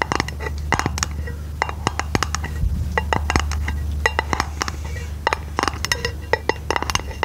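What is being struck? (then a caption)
Round aluminum lid. A round aluminum lid held over the microphone is tapped and scratched with long nails, giving quick, bright metallic clinks with short ringing over soft scraping. A steady low hum runs underneath throughout.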